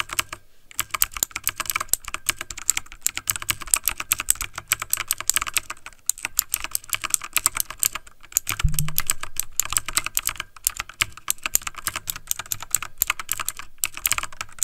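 Fingertips of both hands type fast on a backlit plastic mechanical computer keyboard, producing a dense, steady stream of crisp, bright key clicks over a soft low thud. The typing pauses briefly near the start and around six seconds, and a short low hum rises under the clatter just before nine seconds.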